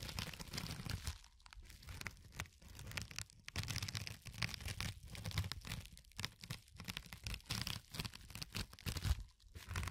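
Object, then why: Porous foam sponge. A fingertip with a short nail scratches across the surface of a yellow porous foam sponge. It makes dense, crackly scratching and crunching in quick uneven bursts, bright and hissy on top over a low rumble, with brief near-silent gaps between strokes.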